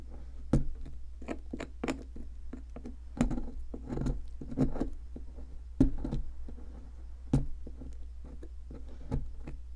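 A thin metal pick scrapes and chips away at a solid white plaster excavation block steadied by one hand, working around a partly exposed object while chunks fall onto the pile. Short, dry clicks and gritty scratches come in irregular bursts over a steady low hum.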